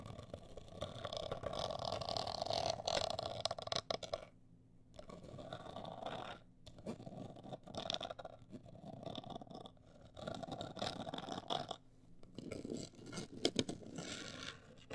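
Long acrylic nails scratch the sides and top of a hollow, medium-size, black printed rigid cardboard cosmetic box. The result is a dense, continuous rasping scrape with a hollow midrange tone and a bright, hissy edge, broken by brief pauses near 4.5, 6.5 and 12 seconds.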